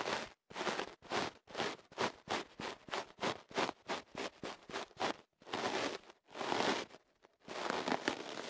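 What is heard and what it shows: A thin wooden ear pick scratches and rubs inside the opening of a tube of kenaf paper wrapped around a microphone held in one hand. A rapid series of short, dry, papery scratches is followed by a few longer rubbing strokes, all crisp and bright with almost no low end.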